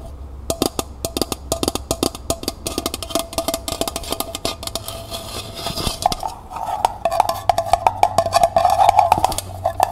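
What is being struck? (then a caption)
Small thin-walled metal pail. Long fingernails tap rapidly on the side of a small, hollow, empty metal pail with a copper-colored finish and a wire handle, tilted in the hands. The taps give short, bright metallic clicks over a faint ringing tone near 800 Hz. After about six seconds the tapping gets faster and louder and the ring swells.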